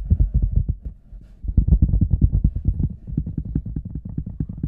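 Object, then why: Large rubber boot. Fingertips and nails tap and scratch the front and sides of an oversized, hollow red rubber boot resting on a table, heard from inside the boot. A rapid run of deep, muffled thumps and throbs, almost all low-end, each dying away quickly, with a brief quieter stretch near the one-second mark before the tapping picks back up.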